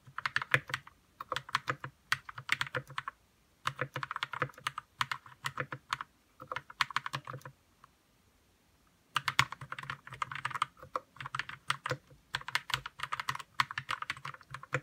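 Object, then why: Mechanical keyboard with plastic keycaps. Fingertips type on a white 60% RK61 mechanical keyboard with plastic keycaps and lubed red switches. Bursts of rapid, clacky keystrokes carry a soft low thock under bright, short clicks. The typing stops in brief gaps and goes quiet for about a second and a half near the middle before resuming.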